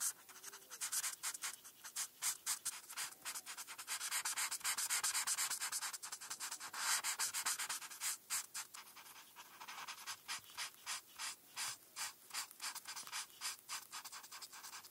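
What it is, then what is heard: Marker coloring on paper. A felt-tip marker is rubbed back and forth across a flat paper coloring page while coloring in star stripes. The result is quick, bright, scratchy strokes at about four per second, uneven in rhythm. The strokes blur into a denser hiss in the middle before separating again into distinct swipes.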